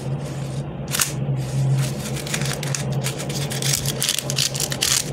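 A pink, flexible plastic lattice fidget worm, a hollow tube, is squeezed and stretched with fingers and palms, pulled long and compressed. It gives off a steady run of bright, crackling plastic clicks over a constant low hum.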